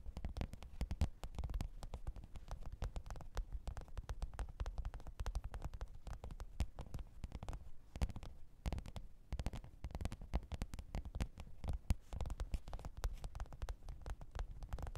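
Long pointed nails rapidly tap and scratch the top of a black, textured faux-leather hard-shell microphone case with a zipper, lying flat on fur. The taps come as a dense, continuous stream of short, dull, low thuds with very little ring and little high-end brightness.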